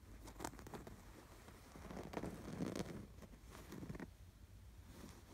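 Fingertips scratch across the embroidery of a stuffed canvas pillow with an appliquéd sweater design. Quiet, dry scratching and rustling comes in short bursts over a low, muffled rumble. A few stronger strokes stand out around the middle before the sound fades back to soft rubbing.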